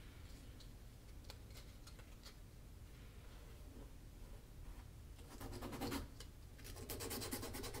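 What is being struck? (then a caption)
Leather shoe sole edge. A small piece of sandpaper is rubbed along the solid leather sole edge of a black leather Magnanni double monk shoe held tilted in one hand. Faint, dry scratching strokes with a low background rumble become louder and denser in the last few seconds, bursting into bright, rapid rasping.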